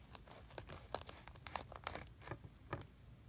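A small plastic tool held by hand scrapes and cuts lines into a flat layer of kinetic sand in a blue plastic tray. The result is a quiet series of short, crisp, crunchy scrapes and crinkles with bright edges over a faint low rumble, each stopping dead with no ring.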